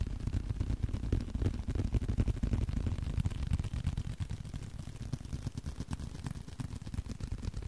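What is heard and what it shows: A small blue leather card holder is handled close to the microphone, tapped and scratched with the fingertips. The result is a dense run of soft, dull, muffled taps, about three per second and somewhat uneven, with a low thumpy body. Faint scratching rustles sit underneath, with no bright ring.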